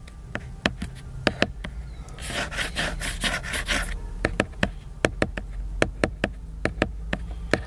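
Fingertips and nails tap the cover of a large, solid, flat laminated cardboard hardcover book, making sharp, dry clicks that die away almost at once. The taps come in a loose, uneven rhythm, broken in the middle by a couple of seconds of bright, continuous scratching across the cover before the tapping resumes.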